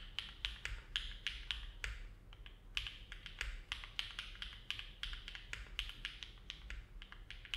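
Fingertips of both hands type continuously on a compact Neo70 mechanical keyboard with an aluminum plate, foam dampening and dark GMK plastic keycaps, resting on a desk mat. Unhurried, irregular keystrokes give short, bright clacks that peak around 3 kHz and die away almost instantly, over a faint low rumble.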